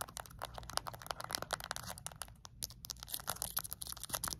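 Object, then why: Small plastic remote control with rubber buttons. Long acrylic nails tap fast on the rubber buttons and edges of a small, flat plastic LED remote control. The result is a dense stream of short, dry, bright clicks with almost no ring, set over a faint steady low hum. The tapping eases briefly in the middle before picking up again.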